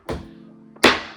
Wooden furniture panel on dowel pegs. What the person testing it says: You can hear that noise tells you it's gone down into the right place.